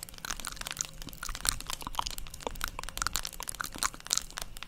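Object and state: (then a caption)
Plastic paddle hairbrush tapped with nails. Long pointed acrylic nails tap and scratch the hollow plastic back of a black plastic paddle hairbrush held close to the microphone in both hands. Dense, dry crackling clicks with bright high ticks and scratchy rustle come in quick, uneven bursts with no ring.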